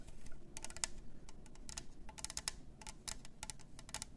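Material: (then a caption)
Plastic. Long nails tap the rim of the clear lid and the sides of a plastic glitter tumbler cup with a straw. The result is a quick run of light, crisp clicks with bright high tops and almost no ring, over a soft low rumble.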